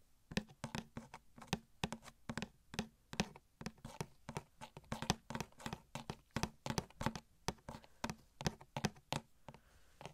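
A small, hollow Elastigirl Funko Pop cardboard box with a plastic window, holding a figure, is held sideways and tapped and scratched with fingertips and nails. A steady run of quick, dry taps with a low hollow thump and a bright clicky edge dies away almost instantly, with soft scratching between them.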